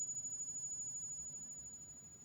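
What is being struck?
Nothing is struck.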